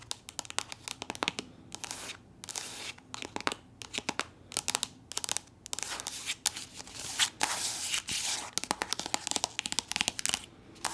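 Long nails tap and scratch along a soft, squeezable plastic body lotion tube that appears full. Quick, bright clicking taps are heard in dense runs, with longer hissing scratch strokes in between. The sound is mostly high with almost no low end.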